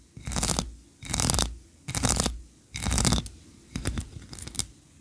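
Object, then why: Solid wax tree-shaped candle. Long nails scratch the ribbed sides of a solid white wax tree-shaped candle, then scratch it again as it is tilted in the hands. Four long, rasping scratch strokes with a bright, hissy texture are followed by a choppier run of shorter scratches, each separated by near silence.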